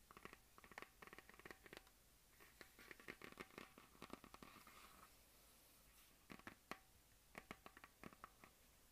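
Long nails and fingertips scratch across a hollow plastic map globe on a stand. Quick bursts of crisp, clicking scratches with a bright, hollow plastic ring alternate with softer, continuous rubbing strokes and a brief pause. The sound stays quiet and close.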